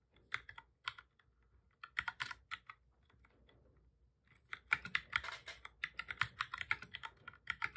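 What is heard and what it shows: Both hands type steadily with their fingertips on a full-size black plastic keyboard with a hollow body, resting on a desk. Short, sharp, bright key clicks come in quick bursts with brief quiet gaps. After a softer lull in the middle, a denser, louder run of taps closes the clip.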